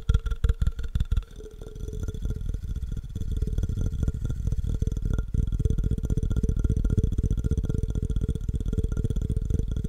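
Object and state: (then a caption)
Empty glass jar. Fingernails tap and scratch along the side of a clear, empty, hollow cylindrical glass jar held sideways. A few separate, sharp taps open the clip, then it turns into fast, dense tapping and scratching that runs on steadily. The sound is mostly low thuds with a faint glassy ring around 450 Hz.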